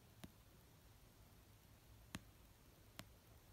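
Long painted nails tap the cover of an orange paperback novel resting on a blanket. Three slow, soft taps are heard, each a short dry click with a dull low thump and a bright edge, spaced far apart over a quiet low rumble.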